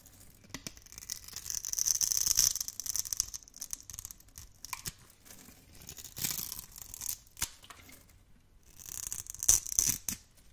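A metal blade scrapes small cubes off the gold surface of a solid orange bar of dry soap held in the hand. Bright, crisp scraping and crunching bursts come in uneven clusters, sitting almost entirely in the high range with little low end. Each scrape stops quickly without ringing.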